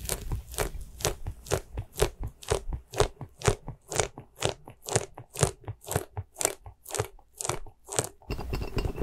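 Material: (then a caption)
Rubber. A small white soft rubber spiky ghost squishy toy, held upside down, has its bristles rubbed and squeezed with fingertips and nails. It gives a steady run of short, crunchy, crackling squishes at about two per second, each a bright burst over a soft low thud. The clip ends in a denser, continuous rustling scrape.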